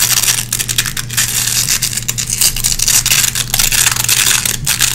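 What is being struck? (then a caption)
Nylon hook-and-loop hook strip. Long red-painted fingernails scratch across a small gray nylon velcro hook patch to clean lint out of the hooks. The result is a dense, bright, crackling scratch in quick back-and-forth strokes, with a faint steady low hum underneath.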